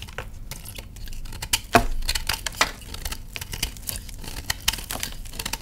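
A hand-sized solid block of reformed purple gym chalk, held in one hand over a tray of crushed chalk, is shaved and scraped with a patterned metal knife blade. The clip is a run of dry, gritty scrapes and crumbly crackles with many short, quickly dying ticks, the loudest a sharp crunch near the middle. Dry powder falls from the block as it is scraped.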